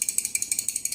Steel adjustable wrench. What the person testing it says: there's a lot more slop in this adjustment mechanism